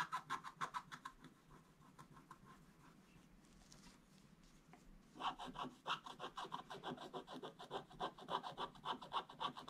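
A wooden stick scratches quick, repeated strokes across a flat, solid, black-coated scratch-art page, making a dry, bright rasping with a scratchy band near 1 kHz. The strokes are brisk at first, soften into a quieter, steadier scrape through the middle, then return louder and faster for the last few seconds.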